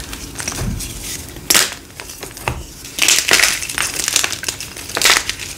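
A thin slab of hard, dry, pink-dyed gym chalk (magnesium carbonate) is crushed and crumbled between the fingertips and palms of both hands, with short nails, over a pile of chalk fragments. Bright, dry crunches and gritty crackles come in several loud bursts with short, scratchy rustling between them. The solid chalk breaks apart into crumbly chunks.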